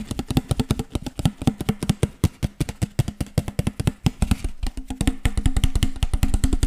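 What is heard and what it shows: Fingertips and nails rapidly tap and scratch the ribbed sides of an empty, hollow clear PET water bottle with a teal label, held sideways and upright. A fast, uneven run of short, hollow plastic thuds with crisp clicky edges fills the clip, each dying away almost instantly, while a low resonant hum grows slightly stronger in the second half.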